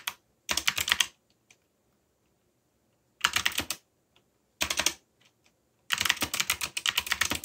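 Fingertips type in quick bursts on a backlit mechanical computer keyboard with plastic keycaps. Fast runs of sharp, bright clicks and clacks come in four bursts separated by quiet pauses. Each keystroke is dry and short, with almost no low end.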